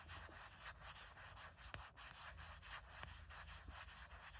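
Long nails scratch in quick, repeated strokes over the flat back of a gray matte silicone phone case with a heart print. The sound is a soft, dry, bright scratching with a steady low rumble underneath. Each stroke fades almost immediately.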